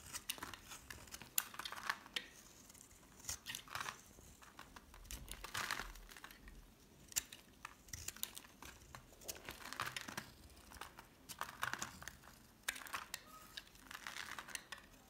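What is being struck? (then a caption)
Bar of soap. A solid yellow bar of soap held in the hand is shaved into thin strips with a metal utility knife blade. The cuts make repeated dry, crinkly scraping and scratching bursts that are bright and hissy. Each one stops short with no ring.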